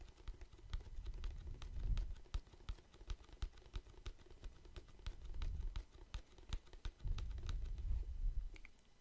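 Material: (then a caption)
Plastic. A medium-size clear plastic Listerine mouthwash bottle, partly full of red liquid, is held in hand next to the microphone and tapped and scratched with the fingertips and nails. Quick, light, crisp clicks with bright edges patter throughout over soft, low rumbling swells from the handling.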